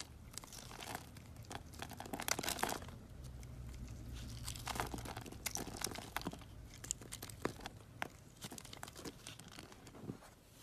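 A box-cutter blade scrapes cubes off a grid-scored solid pink bar of soap, making dense, dry crunching and crumbling crackles. Brighter snaps and sharp clicks stand out over a steady low rumble. The crisp scraping rises and falls in bursts across the clip.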